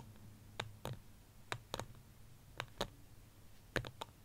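Fingertips and nails tap quickly on the side of a small white ceramic plant pot holding a small succulent, resting on a beige blanket. Nine short, sharp clicks arrive mostly in quick pairs, each with a bright tick over a soft low knock that dies away almost instantly. A faint low hum sits underneath.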